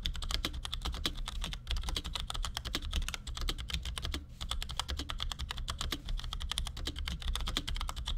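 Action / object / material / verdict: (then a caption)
tap / plastic mechanical keyboard / plastic / none. A compact black plastic Cherry G84-4100 keyboard with ML switches, resting on a desk, is typed on with the fingertips of both hands in quick taps. A rapid, steady stream of short, dry clacks with a bright edge plays over a constant low hum, each keystroke dying away almost instantly.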